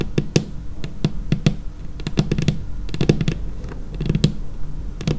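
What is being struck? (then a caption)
Laminated wooden tabletop. Long painted nails on both hands tap across a large, solid, dark laminated tabletop. A quick, uneven run of short, dry clicks, each with a brief low thud underneath and a bright tick on top, dies away almost instantly.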